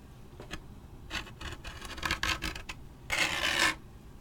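A thin wooden pick or toothpick is scratched over the printed surface of a large, hollow waxed paper drink cup with a lid and straw, held in hand. Short, bright, dry scratching strokes come in quick, uneven bursts. They end in one longer, louder rasping scrape before fading to quiet.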